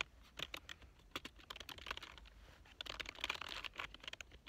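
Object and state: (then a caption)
Plastic computer keyboard. Fingertips of both hands type on a full-size black plastic keyboard with a hollow body and membrane-style keys, lying on a fabric couch. About 17 quick, light keystrokes form short, bright clicks and clacks with no ring, some in fast clusters, over a quiet low background.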